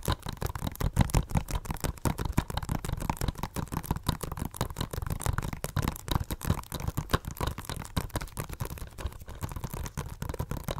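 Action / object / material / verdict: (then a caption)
tap / plastic Blu-ray case / plastic / none. Long nails tap rapidly on a hollow blue plastic Blu-ray case with a cardboard slipcover, held upright. The dense, steady stream of short, dry clicks has a dull low-frequency body and almost no ring, sustained for about eleven seconds.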